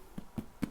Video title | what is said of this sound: Easy No-Knead Dutch Oven Bread Recipe | when you tap on it at the bottom it sounds very hollow